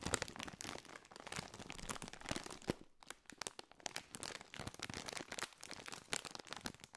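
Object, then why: Foil-lined plastic crisp bag. A partly filled Doritos foil-lined, metallized plastic crisp bag is held in both hands, crinkled and scratched with the fingertips. The result is seven seconds of dense, bright crackling and crinkling, with rapid sharp snaps that die away almost instantly. There is little low-end body, and only brief quieter gaps break the texture.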